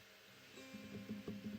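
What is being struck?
Nothing is struck.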